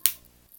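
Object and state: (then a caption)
Genuine pocket knife, crisp blade click. A blade on a genuine Victorinox Swiss Champ stainless steel multi-tool pocket knife is snapped shut with a single bright, crisp click. The sharp transient decays almost instantly, leaving a faint low hum underneath. The clean, crisp closing sound marks it as genuine, unlike the muffled sound of a copy.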